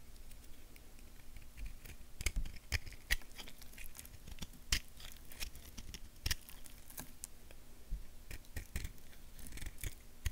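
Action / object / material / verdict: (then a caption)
scrape / bar of soap carved with a knife / soap / none. A purple knife blade scrapes and carves a small, solid tan bar of soap held in the hand, shaving off curls. Crisp, bright scraping strokes and sharp clicks come in a quick, irregular series over a low, steady hum.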